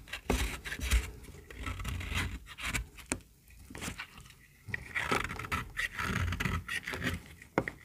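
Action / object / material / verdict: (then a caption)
scrape / bar of soap / soap / none. A small, solid, pink bar of dry soap held in the hand is shaved along its edge with a metal utility-knife blade. Uneven bursts of dry, crumbly scraping and brittle crackle come with each stroke, separated by short quiet gaps, ending in a sharp snap.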